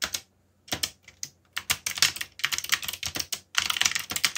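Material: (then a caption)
Plastic. Fingertips tap the plastic keycaps of a backlit mechanical computer keyboard in quick, uneven bursts of typing with brief pauses between runs. Each keystroke is a short, bright click with almost no low end and virtually no ring.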